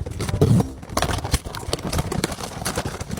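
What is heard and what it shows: An unopened SpongeBob cardboard blind box, holding a soft Working Fish plush keychain with an ID card, is shaken to guess the figure by hearing its shape inside. Rapid, muffled, low thumps and rustles rattle on continuously, with a heavier burst near the start.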